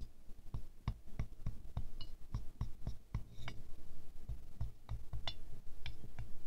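A wooden stick taps the centre and outer petals of a small silver-glazed ceramic rose ornament resting on a fur rug. The taps come at an uneven pace as short, dry, dull knocks with a low thud and almost no ring, a few carrying a faint bright click.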